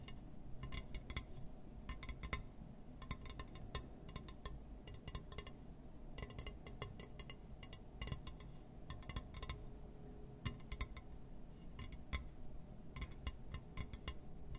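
A glass surface is tapped and scratched, giving rapid, short clinking and ticking sounds in quick clusters over a steady low background rumble.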